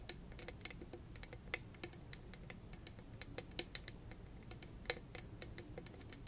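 Long red nails tap and scratch a hollow, purple, rhinestone-studded cylindrical tumbler held in both hands. The result is a rapid, uneven stream of tiny, bright clicks with almost no ring, over a soft low rumble.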